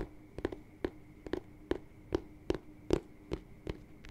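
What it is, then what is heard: Leather boot tapped. Fingertips and nails tap and scratch the smooth leather upper and toe of a hollow, empty white lace-up boot with a thick rubber sole, held close to the mic. The result is a steady series of short, dry taps with a soft hollow tone in the low-mids. Faint scratchy textures sit between the taps, and no ring follows them.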